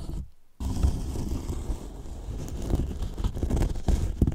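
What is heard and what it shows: Fingertips scratch and tap the top edge of a large, hollow white polyethylene foam box. The result is a dull, low, muffled scratching with soft knocks that stops briefly near the start and then continues as a steady rustle.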